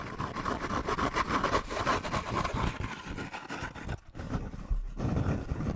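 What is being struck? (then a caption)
Kraft paper bag. Medium-length painted nails scratch and tap along a hollow, textured, slightly embossed brown kraft paper bag held close to the microphone, while fingertips rub and grip it. The result is a dense, fast, irregular stream of crisp crinkling and scraping over low, muffled thumps, with a brief quieter gap near the four-second mark before it picks back up.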